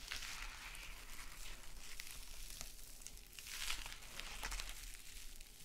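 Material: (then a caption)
Metal mesh. A small gold metallic mesh scrub sponge is bent and squeezed, then scratched with long nails on a sequin mat. The result is a bright, dense crinkling and scratchy rustle with sharp, quick crackles, layered over a steady low hum.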